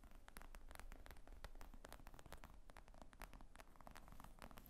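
Fingernails tap and scratch on the top surface of a black leather briefcase-style laptop bag with zippers, lying flat. Quick, dry clicks and brief scratchy rustles run steadily throughout, with a soft low rumble underneath and almost no ring after each tap.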